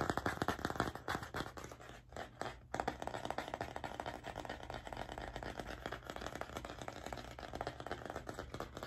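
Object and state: Wooden coaster.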